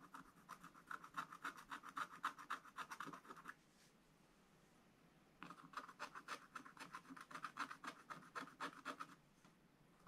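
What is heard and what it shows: A wooden stylus scratches fine lines into a black-coated scratch-art page in a spiral book lying flat. Quick, rhythmic rasping strokes, centered around a mid-range pitch with a faint bright edge, come in two bursts separated by a short pause of near silence, all at a quiet level.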